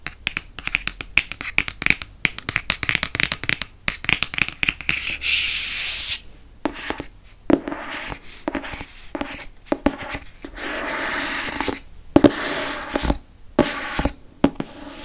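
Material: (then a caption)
Cardboard. Fingertips rub and tap the cover of a Harry Potter and the Prisoner of Azkaban hardcover book held close to the microphone. Dense runs of quick, dry taps mix with longer bright, hissy rubbing swells. Each tap dies away almost at once.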